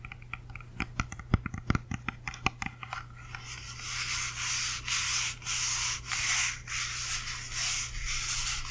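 A whole, solid red-yellow apple held close to the mic is tapped with long nails in a quick, uneven run of sharp clicks over the first three seconds. Then the nails scratch across its skin in bright, hissy rubbing strokes that come in repeated bursts. A steady low hum sits underneath throughout.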